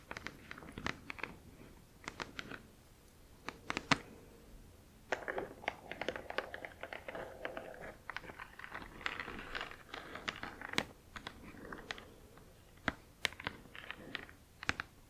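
Long acrylic nails tap and scratch across the glossy front of a large printed cardboard Spirograph box. Sharp, bright clicks ring out in quick bursts, mixed with dry, crinkly scratching that swells and fades between pauses. The sound stays quiet and close throughout.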